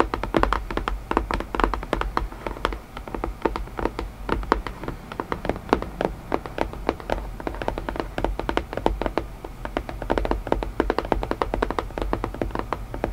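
Fingertips tap rapidly and steadily on a wooden puzzle box, making dense, dry, short knocks with no ring. The irregular rhythm runs continuously, with a low hum underneath.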